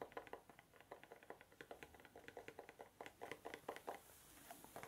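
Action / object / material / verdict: tap / small cardboard box / cardboard / none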